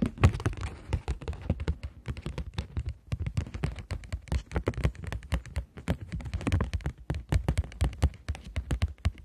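Long nails tap and scratch rapidly on a polymer plastic £20 banknote bent into a curve. The result is a dense run of quick, dry, low thunking taps with very short decay, mixed with faint bright scratching.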